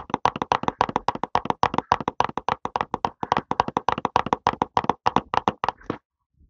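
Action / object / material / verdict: tap / small cardboard box / cardboard / none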